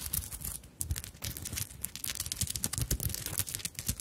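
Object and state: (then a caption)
Sequin and bead embellished fabric handbag. Long acrylic nails tap and scratch across a small soft fabric handbag covered in sequins and plastic bead flowers, held up close to the microphones. The result is a rapid, uneven stream of bright clicks, crinkles and scratchy rustles over soft low thumps, each tap dying away almost instantly.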